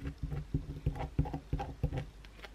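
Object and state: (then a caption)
Bar of soap being scratched. A solid white bar of soap, resting on a towel and held, is scratched with long pointed blue acrylic nails, scraping off flakes onto the towel. Repeated short, dull scratching strokes come in quick bursts, heavy in the low end with little brightness and almost no ring.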